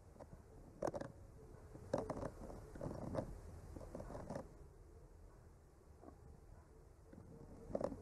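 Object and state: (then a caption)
Painted wooden panel being traced. A bamboo skewer with a clipped-on mic slowly traces and scratches across a flat, solid painted wooden art panel. Soft, muffled scraping strokes with a woody mid-range tone come in irregular swells over a low rumble, and the quietest stretches fall between them.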